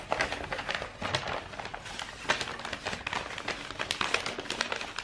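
A long, hollow rolled tube of brown star-printed kraft wrapping paper is held horizontally in both hands and squeezed and rubbed with the fingers. It gives a continuous stream of dry, bright crinkles and crackles with sharp little peaks and almost no low end.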